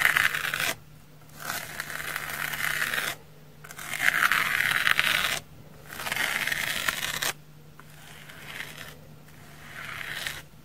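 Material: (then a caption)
Foam. A pink knife blade scratches and scrapes across the face of a large, solid, dry pink porous foam sponge held in the hand. Bursts of dry, raspy, bright scratching are separated by short pauses, with the last stretch softer. A faint low hum runs underneath.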